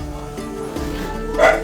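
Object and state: Nothing is struck.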